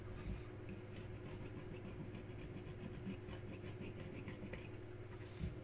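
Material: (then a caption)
Resin. A handheld bevel knife scrapes and shaves the edge of the ring-finger hole on a full-size solid The One Reverb bowling ball with a reactive resin coverstock, which rests on a concrete floor and is held steady by one hand. Repeated soft, raspy scraping strokes run over a steady low hum, with a few slightly louder strokes standing out.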